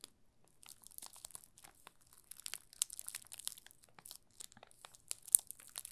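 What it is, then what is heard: Plastic film crinkling on bar soap. A yellow solid bar of soap wrapped in clear plastic film is held and tilted in both hands while fingertips press and rub the film. It makes quiet, bright, irregular crinkling and crackling bursts with sharp clicks and almost no low end.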